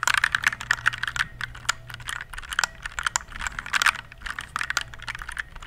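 A compact RGB plastic mechanical keyboard is held in both hands while fingertips type on its keys. The result is a fast, uneven run of short, sharp, clacky keystrokes with a bright plastic click. A faint low hum sits underneath.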